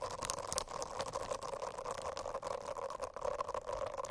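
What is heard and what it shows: Long acrylic nails scratch across the dense small bristles of a rainbow-striped silicone notebook cover lying on a flat notebook. The result is a continuous, fairly quiet scratchy rustle with a steady buzzing hum in the mid range and bright crackling streaks throughout.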